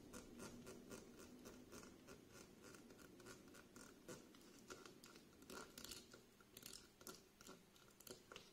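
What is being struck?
Wax-filled glass candle jar.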